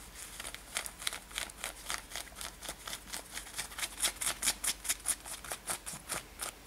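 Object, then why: Denim top. Long nails scratch the front of a worn light-blue denim top with brown lacing. A quick, uneven run of dry, bright scratching strokes plays at roughly two per second, with almost no low end and no ring after each stroke.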